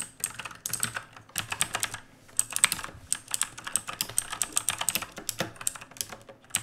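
A full-size black mechanical keyboard with plastic keycaps on a dark plate, with an RGB backlight, rests on a wooden desk and is typed on fast with the bare fingertips of both hands. Rapid bursts of sharp, bright, clacky keystrokes are broken by short pauses, and each click dies away almost instantly with little low end.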